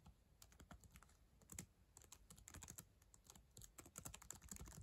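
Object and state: Plastic laptop keyboard.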